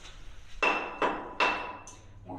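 A hammer taps the rock wall of a mine tunnel, showing how miners listened to the rock to choose a tool. Three sharp, bright taps ring with a clear high tone and fade quickly. The rock sounds hollow, so it could likely be worked with a pickaxe.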